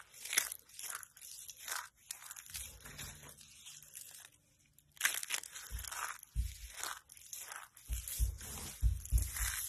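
Bare hands scoop handfuls from a pile of dry, brittle pale yellow soap flakes and crush them between fingers and palms. Repeated crisp, bright crunching and crumbling bursts come with soft low thuds, easing into a quieter, sparser stretch partway through before the crunching returns more densely.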